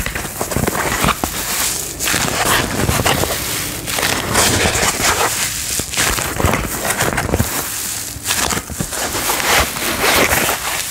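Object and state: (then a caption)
Paper towel crinkled. A thin white paper towel sheet, held up in one hand, is rubbed and crinkled with the fingertips and palm of the other hand. It makes a steady, bright, dry crackling and rustling with repeated swells that runs through the whole clip.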